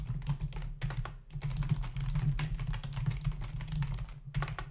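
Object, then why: Plastic membrane computer keyboard. Fingertips of both hands type rapidly on a black plastic membrane desktop keyboard with hollow key caps. A dense stream of short, dry plastic taps and clacks runs throughout, with brief pauses, over a steady low hum.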